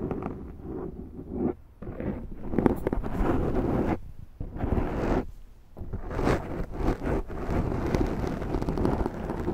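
Long nails scratch across the top of a large, round black foam windscreen on a Zoom microphone, making a dense, rumbling, crackly scrape concentrated in the low and low-mid range. The scratching comes in long, slow strokes with brief quiet gaps around 1.7, 4 and 5.5 seconds.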